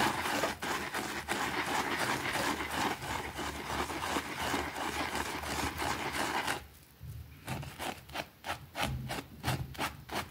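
A white plastic brush scrubs a small, thin, foamy green fabric rug lying on a concrete floor while the other hand pins the rug down. Dense, continuous scratchy rubbing fills the first six and a half seconds, then drops into quieter, separate back-and-forth strokes with bright, hissy bristle swishes.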